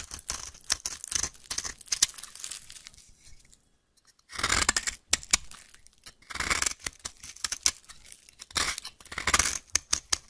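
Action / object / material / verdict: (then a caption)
scrape / bar of soap scraped with a small metal blade / soap / none. A solid pink bar of soap held in the hand is carved and scraped with a small metal blade, and flakes pile up. Bursts of dry, bright crunching and rasping scrapes come in clusters, with a quiet pause near the middle before the cutting resumes.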